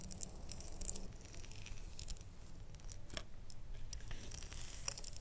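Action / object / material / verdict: tap / small ribbed glass jar with lid / glass / none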